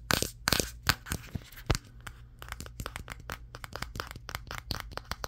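A Samsung Galaxy S23, a solid handheld phone with a matte glass back and triple camera lenses, is tapped with fingertips and short nails on the back and camera area while it records in a mirror. The result is a rapid, irregular run of short, sharp clicking taps, with a few louder cracks at the start.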